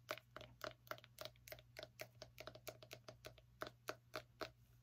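Fingernails tap rapidly on the rind of a small orange pumpkin, producing a quick, uneven run of about two dozen short, dry knocks. Each knock has a hollow mid tone near 620 Hz with a bright clicky edge and dies away almost instantly. A steady low hum sits underneath throughout.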